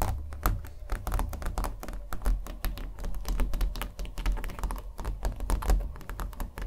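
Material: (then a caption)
Canvas. Fingernails tap rapidly on a small stretched canvas covered in thick acrylic paint, its wooden frame held in the hands. The result is a quick, uneven run of soft, hollow, low thunks that stop almost instantly, with a faint bright click on each tap.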